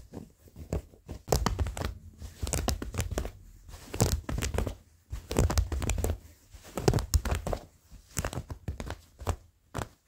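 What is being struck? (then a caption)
Denim jeans fabric. Short fingernails and fingertips scratch worn blue cotton denim jeans with frayed seams and a pocket, the soft fabric bunched up. Irregular bursts of quick, rasping strokes come in clusters with brief pauses between them, each stroke crisp and dry. The strokes carry a soft low rumble under bright scratchy edges.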